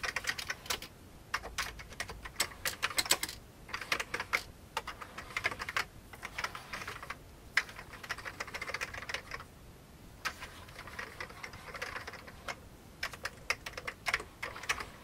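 Fingertips type on an old beige plastic computer keyboard, first with one hand and then with both. Bursts of quick, bright, dry key clicks with almost no low end are broken by short pauses.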